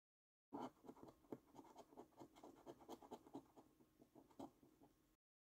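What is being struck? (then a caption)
Paper scratch card with scratch-off coating. A coin scrapes the scratch-off coating from the symbols on a thin, flat paper £15 Luxury Lines National Lottery scratch card. About a dozen quick, dry scratching strokes are heard, with the first strokes the loudest. The rasping stays quiet and mid-toned over about four and a half seconds.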